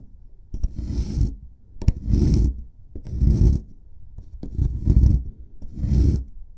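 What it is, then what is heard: Plaster excavation block being scraped. A solid plaster excavation block is brushed with a paintbrush and then scraped with a metal chisel pick. Five gritty rasping strokes come at a slow, uneven pace, with brief sharp clicks at some stroke starts. Each stroke is a dry scratching swell, heavy in low rumble with a faint high hiss, and it stops with no ring.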